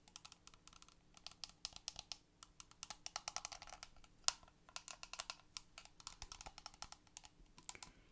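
A small, hollow, clear plastic toy fish tank with a lime-green lid and toy fish inside is held in both hands and tapped rapidly on the lid and sides with long purple acrylic nails. The result is dozens of quick, bright, dry clicks with almost no ring, sounding much like fast typing on a keyboard, with one sharper tap standing out near the middle.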